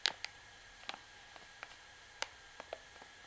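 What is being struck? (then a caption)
Plastic pouch of washing powder. Long nails tap and scratch the printed label on the back of a full white plastic washing powder pouch as it is held up, crinkling the plastic. Short, bright, dry ticks and crackles with almost no ring come at irregular intervals over a quiet background, with almost no low end.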